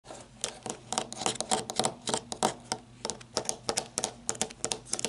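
Long red-painted nails tap and scratch along the ribbed barrel of a black matte flashlight (plastic or coated metal) with a ribbed grip and hollow body, lying on a wooden table. A rapid, uneven run of short, dry, bright clicking taps is mixed with soft scratchy rasps, each hit dying away almost at once.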